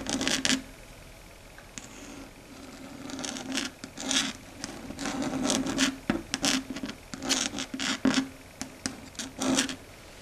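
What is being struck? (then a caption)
Chalkboard surface scratched with long nails. Long red stiletto nails, curled down, scratch and rub across a flat, dark grey, matte chalkboard on a solid board. The result is a run of dry, raspy strokes with bright, hissy highs and a faint steady tone around 266 Hz. The strokes come in short bursts, closer together and louder toward the end.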